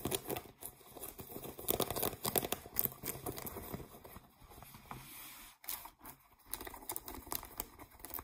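Fingernails scratch the fabric and seams near the waistband of blue ripped cotton denim jeans lying on a table. Dense, bright, rasping scrapes come in quick uneven bursts, with a brief lull around the middle before they pick up again.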